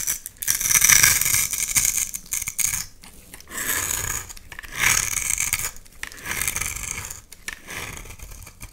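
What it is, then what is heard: Bar soap being scraped. A utility knife blade cuts into and scrapes shavings off a solid red oval bar of soap. Bright, hissy scraping strokes come in uneven bursts, with brief quieter gaps between passes, and a faint crisp crackle runs through each stroke.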